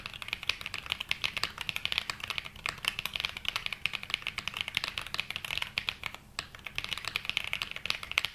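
Continuous typing with both hands' fingertips on a black 80% mechanical keyboard with dark grey and mint ABS plastic keycaps, resting on a felt mat. Dense, rapid, bright clicky keystrokes that stop almost instantly, with a brief pause just past six seconds before the typing resumes.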